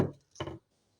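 A hammer taps a wooden dowel into a drilled hole, producing two dull, low wooden knocks. The change in the tap's note signals the dowel is fully seated and tight in the hole.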